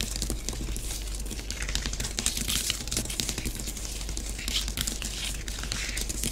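Long nails on both hands quickly scratch and rake through orange bath bomb powder on a flat grey tray in many short strokes. The result is a dense, continuous gritty crackle with bright, hissy scraping over a steady low hum.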